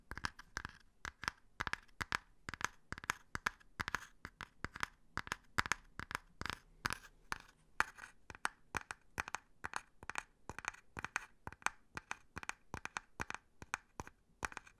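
A small, folded brown leather wallet is held in both hands while fingertips and nails tap and scratch its surface and edges. Dozens of quick, dry taps with no ring follow one another in a steady, irregular rhythm, with a papery scratchy texture centred around 1.4 kHz and a high, bright top. The sound is quiet and close, with little low end.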